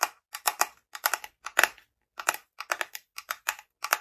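A small frosted glass jar, held in both hands, is closed with a light wooden screw lid, possibly bamboo, which is tapped and scratched with long fingernails. The result is a run of quick, dry, bright clicks in uneven clusters with short gaps between them, each tap dying away almost at once.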